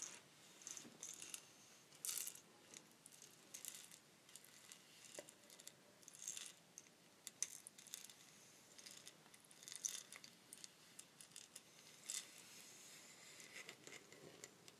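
A long, hollow wooden rainstick with a mottled surface is held horizontally in both hands with long nails and tilted slowly, so the beads inside trickle and rattle. The sound is a quiet, bright, continuous patter of tiny clicks with almost no low end, swelling into denser rushes now and then.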